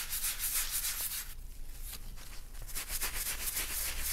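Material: Leather.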